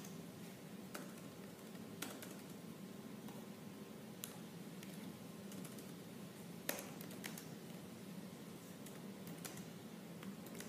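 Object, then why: Laptop plastic keyboard. Fingertips with purple nails type slowly on the black plastic keys of a silver laptop keyboard. Sparse, sharp clicks and taps stand out over a steady, quiet low hum, with irregular gaps between keystrokes.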